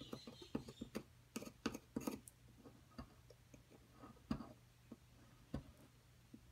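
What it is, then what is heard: Plaster block being chipped with a pick. A metal pick repeatedly scrapes and chips at a solid white plaster excavation block held flat. The result is a quiet run of short, sharp clicks and gritty scratches, with brighter crisp ticks at irregular intervals, over a faint steady low hum.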